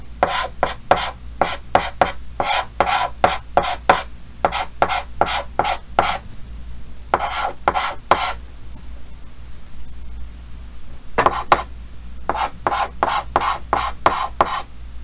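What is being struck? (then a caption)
Chalk on a painted chalkboard. Yellow chalk held in the fingers scratches short strokes across a large, flat, solid painted chalkboard with a green frame. About 29 dry, raspy scrapes come in quick bursts with a longer pause midway, each stroke bright and gritty with almost no ring.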